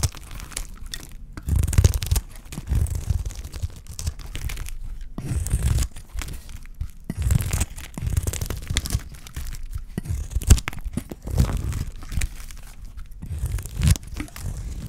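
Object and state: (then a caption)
Dry soap bar shaved with a blade. A utility knife blade scrapes and shaves flakes off a solid, dry, pale white bar of soap held in the hand. It makes a series of dry, crackly scraping strokes, each a short burst of rough, gritty texture with a bright edge over a heavy low rumble. Brief quieter pauses fall between the strokes.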